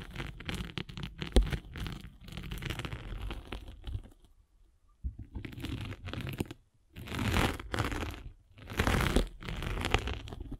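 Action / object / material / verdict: scrape / abrasive foam sanding sponge rolled with a spiked roller / abrasive foam / none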